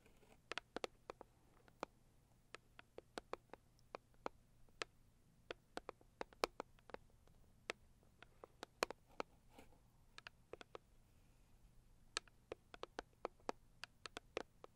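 Long acrylic nails of both hands tap a hollow, medium-sized pink floral Saviland cardboard box in quick, uneven bursts. About forty sharp, bright clicks with almost no ring sound over a very quiet background with a faint low hum.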